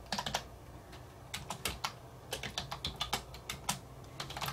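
A black plastic wireless computer keyboard with hollow keys sits on a wooden desk and is typed on continuously with the fingertips of a hand wearing rings. Bright, crisp key clicks come in uneven bursts, with short pauses between runs and a faint low hum underneath.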